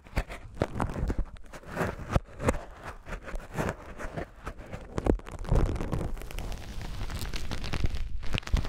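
A white polyethylene foam grid net sleeve is rubbed and scratched with fingertips and pressed flat. It makes a dense, soft crackling rustle with a heavy low body and little brightness, and many quick pops give way to a steadier, louder scratching in the second half.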